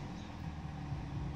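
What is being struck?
Nothing is struck.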